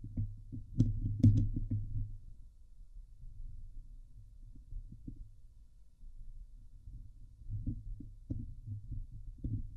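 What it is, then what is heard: Metal mesh microphone grille scratched. Long nails intermittently scratch the hollow steel mesh grille of a Blue Yeti microphone, with hands hovering over it at times. It makes deep, muffled, irregular thumping and rumbling, with the loudest brushes early on adding brief bright scratchy crackles. Quieter stretches of soft low rustling follow, then the scraping picks up again near the end.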